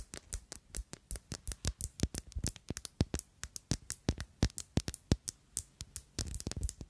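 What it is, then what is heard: Glass perfume bottle tapped with nails. Long acrylic nails tap and scratch a small rectangular black glass Si perfume bottle with a rounded black cap; it is hollow and partly full. About 39 short, sharp, bright clicks come at an uneven quick pace with almost no ring. They end in a denser flurry of scratchy taps.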